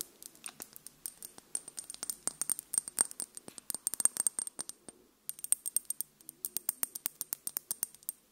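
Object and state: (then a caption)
Glass dropper bottle. Long pink nails tap and scratch a small dark glass serum bottle with a black rubber dropper cap, apparently filled and held in one hand. Dozens of quick, quiet, bright clicks and ticks come in a steady rapid stream, with a faint high ring, pausing briefly just after the midpoint before resuming.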